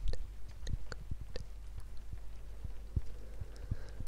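A round, flat, solid cork coaster about palm size is held in one hand beside a binaural microphone and tapped and scratched with long red-painted nails. Soft, dull low thumps with short bright clicks land irregularly over a steady low hum and faint hiss. The taps die away almost instantly.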